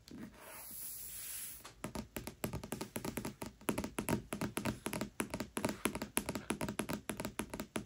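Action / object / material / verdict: tap / cardboard hardcover book cover / cardboard / none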